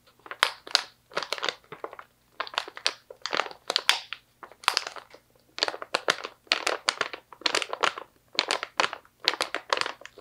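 A medium stand-up plastic pouch, partly full of slivered almonds, is squeezed and scratched with long nails. It gives repeated bursts of sharp, bright crinkling and crunching with short pauses between them. There is almost no low end.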